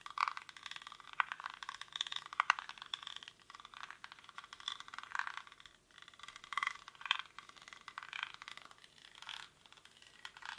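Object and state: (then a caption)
Woven rattan basket. Fingernails scratch quickly across the weave of a hollow, cylindrical woven rattan or reed basket held in both hands. The result is a steady, dense crackling and scraping with a bright, papery texture and no low end, rising and falling in uneven bursts.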